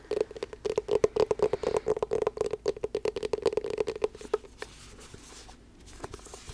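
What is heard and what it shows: Long black nails rapidly tap a closed, hollow blue rubber-coated hard-shell glasses case, making a quick, uneven patter of short clicks over a steady hollow mid-pitched ring. After about four and a half seconds the tapping thins out to a few faint, scattered taps.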